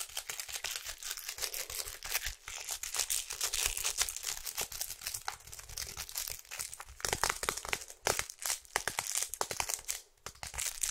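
Long acrylic nails tap and scratch a small, hollow, printed cardboard box of fruit bars held in the hands. The result is a dense, bright, crinkly stream of rapid dry clicks and scrapes with almost no low end, broken by brief quiet dips.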